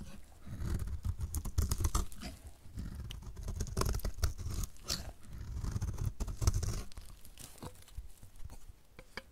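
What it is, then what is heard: Dry bar soap being cut. A pink-red painted dry soap bar, solid and partly shaved down, is held in the hand and scraped and cut with a utility knife blade into crumbly flakes. Dense, irregular crunching and scraping come in swelling waves, mostly low and dull with brief bright crackles. The flakes crumble away with each pass of the blade.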